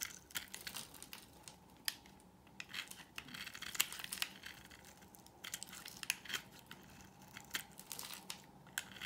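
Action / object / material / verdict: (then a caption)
scrape / bar of soap shaved with a knife blade / soap / none. A solid, dry white oval bar of soap held in the hand is shaved with a utility knife blade, curling off shavings. The scraping is heard as bright, dry crackling and crisp scratchy strokes with sharp clicks, all very short with no ring and almost nothing in the low end, at a quiet level.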